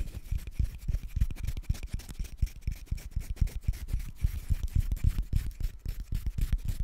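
A single thin, flexible paper banknote is held in both hands close in front of the microphone while fingertips rub, crinkle and fold it. The result is a steady run of short, irregular crinkles and soft rubbing thumps, heavy in low-end handling noise with faint bright crackle on top.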